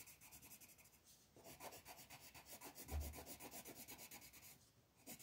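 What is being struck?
Paper coloring page rubbed by a colored pencil.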